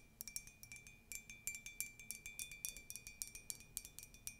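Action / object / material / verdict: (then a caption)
tap / ceramic mug / ceramic / none. A tall, white, conical ceramic mug with a colourful text print, hollow and empty, is tapped and scratched with long nails, including inside the rim. About 27 quick, bright clinks ring out with a steady ceramic tone near 2.3 kHz. Each dies away almost at once, with soft scratchy sounds between the taps.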